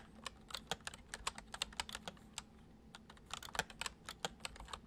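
Fingertips of both hands type fast on a full-size white plastic computer keyboard with hollow keys resting on a wooden desk. Quick, bright clicky taps with short dry decay come in an uneven patter, with a denser burst of keystrokes just past the three-second mark, over a faint low hum.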